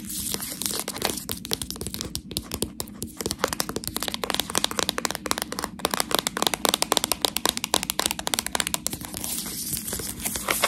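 A sealed plastic package of Priano cheese tortelloni, full of pasta, is handled with long nails and fingertips. Dense, bright crinkling, scratching and tapping on the plastic film runs through the clip as many short clicks and crackles, with no spoken words.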